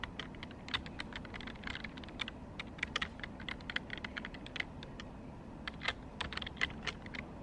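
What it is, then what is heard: Plastic computer keyboard. Fingertips with long pink nails type rapidly and tap on the hollow keys of a black plastic desktop computer keyboard. The result is a quick, steady stream of short, bright clicks and clacks that fade almost instantly, over a low background hiss.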